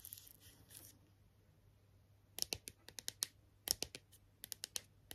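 Long nails scratch softly across a hand-sized, hollow, hard red and green plastic strawberry character toy, then tap its face and leaves in a run of sharp, crisp clicks. The sound is quiet, bright and dry, with almost no low end and each tap dying away instantly.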